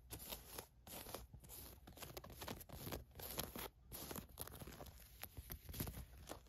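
A hand with long nails rubs, scratches and handles white paisley polyester mesh basketball shorts with a ribbed waistband. The result is a steady run of quiet, dry scratching and crinkly rustling, with a low rumble underneath and a bright hiss on top.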